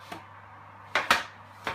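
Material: Bread crust.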